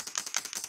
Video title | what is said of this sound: TESTING JUST ARRIVED AT SEPHORA MAKEUP & SKINCARE | listen to that there's something in there to shake it